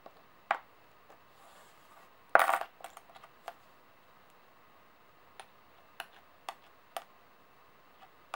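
Long nails and coin edges tap and click on solid metal coins resting on a table. Sharp, dry clicks with a bright metallic edge come at irregular intervals, with a louder jingling cluster of clicks about a third of the way in. Each click dies away almost instantly against a quiet background.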